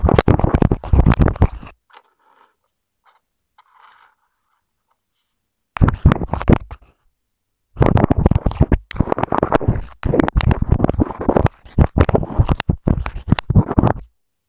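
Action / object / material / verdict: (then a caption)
scrape / plastic earphone inline remote and wooden pencil / plastic / none. A wooden pencil tip held in the hand scratches across the button area of a small white plastic inline mic/remote on a wired earphone cable, taped to a wooden table. Close, dense bursts of low, rumbling scratching and scraping come through the mic, with a quiet pause of faint, high ticks before the scratching resumes in repeated bursts.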